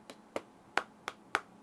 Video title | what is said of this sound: 7 AI dan Fitur Canggih Buat Produktifitas ft. MSI Stealth 14 Studio | Jadi kerasanya bukan metal banget tapi juga nggak plastik